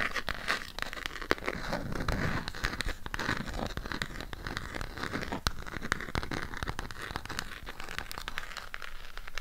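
Long pink acrylic nails scratch and tap a burgundy Harry Potter eyeshadow palette with a cardboard case, held close to the mic. The result is a dense, steady stream of crinkly, crackling scratches broken by sharp, dry taps that die away almost instantly.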